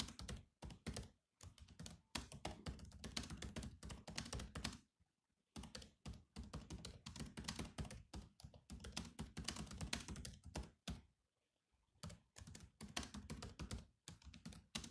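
Fast fingertip typing with both hands on a silver laptop's black plastic keyboard gives a dense run of quick, dry key taps. Each tap has a low thud and a bright click. The bursts pause briefly near 5 and 11.5 seconds.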